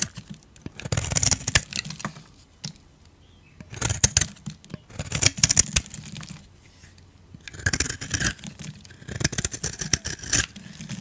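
A metal blade scrapes crumbly flakes off a dry, solid oval beige soap bar with a blue rim. Bursts of bright, dry, crunchy scraping and crackling are heard, separated by short quiet pauses, with a faint low rumble underneath.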